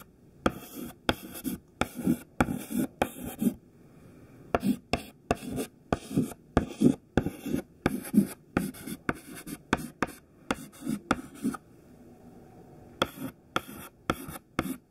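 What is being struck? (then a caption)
Chalk stick on a chalkboard. A thin white chalk stick held in the fingertips writes a sentence on a black chalkboard, making 24 short, dry scratching strokes and tapping dots. The strokes come in quick bursts with brief pauses near 4 and 12 seconds. Each scrape has a low rasp around 250 Hz with a faint bright edge and dies out almost at once.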